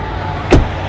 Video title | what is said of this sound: POV: Introducing Red Hyundai Tucson | It sounds pretty good when you close the door. Listen to this sound. Sounds solid, pretty good.